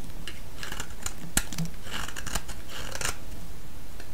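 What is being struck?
Bar of soap cut with a blade.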